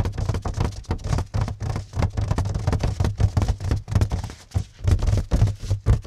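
Fingertips and short nails scratch and tap on crinkled plastic cling film wrapped tightly over a flat, square mirror of about 30 cm set in a white cardboard mat. The result is a quick, uneven run of soft, muffled taps and rustles with a deep, low thump and very little brightness. Each hit dies away almost instantly, with a few brief pauses between bursts.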